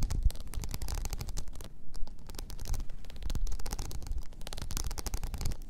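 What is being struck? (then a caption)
Rhinestone-covered tumbler. A blue rhinestone-covered tumbler lying on its side is scratched with long nails, making rapid, dense ticking and scraping clicks. Under a low rumble, the clicks run continuously with short, dry bursts.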